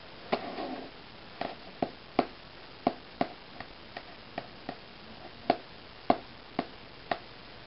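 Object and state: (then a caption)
Paper magazine. Red-painted fingernails tap and scratch the cover of a closed, glossy Self paper magazine lying flat as a solid stack of pages on a wooden table. A brief papery scratch near the start is followed by 14 sharp, dry clicks spread out with quiet gaps between them. The taps are mid-pitched, die away almost instantly, and carry little low rumble or high brightness.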